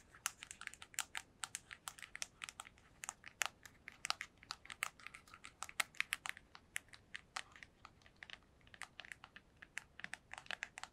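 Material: Cardboard.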